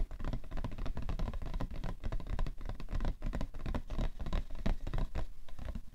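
Fingertips tap and nails scratch across the printed top of a cardboard tissue box, making a dense, rapid patter of short, dry, muffled thuds. A raspy scratching texture runs underneath, and the taps die away almost instantly with no ring.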